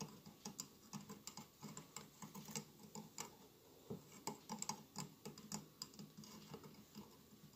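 Fingertips tap and scratch the tiled outer surface of a mid-sized hollow glass votive holder covered in a glued mosaic of colored glass tiles, with a lit candle inside. Quiet, irregular clicky taps with bright, crisp edges die away almost instantly, with soft scratchy rustling filling the gaps between them.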